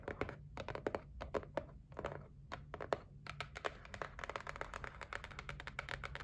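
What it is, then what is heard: Cardboard box tapped and scratched with nails. Long nails tap and scratch across the top and edges of a white cardboard gift box resting on a table. Quick, dry, hollow taps with no ring are mixed with short scratchy strokes over a low, steady rumble. After about three seconds the tapping turns faster and denser.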